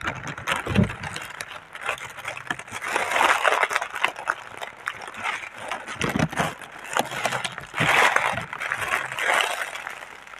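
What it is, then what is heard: Plastic air-pillow packaging film. Hands with long painted nails rub, press and fold a large, clear, printed Sealed Air plastic air-cushion packaging sheet made of thin film. It makes a steady, bright crinkling and crackling rustle, swelling into louder scrunches and fading between folds.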